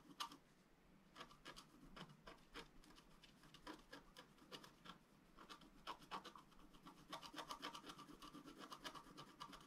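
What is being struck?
Wax-coated scratch-art paper scratched with a wooden stylus.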